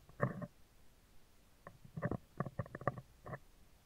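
Metal tweezers scratch a hollow, round steel wire-mesh microphone grille, first along its right side and then across the top of the mesh. The result is a series of close, dry scraping and scratching bursts, low and muffled with a faint harmonic buzz, separated by quiet pauses.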